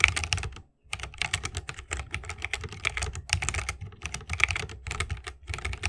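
Fingertips of both hands type continuously on a 60% mechanical keyboard with plastic keycaps and tactile Holy Panda switches in a bamboo wooden case. Rapid, bright clacks with short rings and a soft low thock underneath continue steadily, apart from one brief pause near the start.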